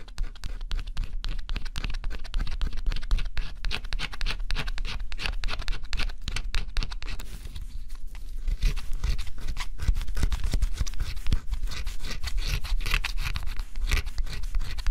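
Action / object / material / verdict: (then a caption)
scrape / cardboard scratch-off jigsaw puzzle / cardboard / none. A small scraping tool, guided by fingers, scratches the black scratch-off coating off a flat, assembled cardboard jigsaw puzzle with thin, solid pieces, in repeated strokes. The result is a dense, continuous run of quick, dry scratching with energy weighted toward the low end. It eases briefly around the eight-second mark before resuming at a steady level.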